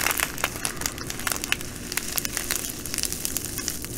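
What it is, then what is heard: Plastic bag of glass bugle beads. Long nails scratch a clear plastic bag full of small green glass bugle beads while fingers pinch and squeeze it. The result is dense, bright crinkling with rapid sharp ticks and clicks over a steady, quiet hiss.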